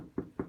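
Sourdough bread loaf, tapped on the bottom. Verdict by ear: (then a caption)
Hollow. Two taps on the bottom of a freshly baked sourdough loaf give short, hollow, low-mid knocks with almost no ring. The hollow sound and the loaf's light weight show the bread is done.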